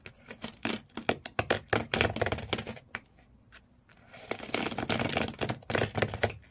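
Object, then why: Corrugated cardboard shoe box. Fingernails of both hands scratch rapidly across the corrugated cardboard floor inside an empty shoe box. The result is fast, dry, bright scraping bursts with a low hollow thump beneath. The scratching eases to a quiet pause around the middle, then resumes in a denser, rougher flurry.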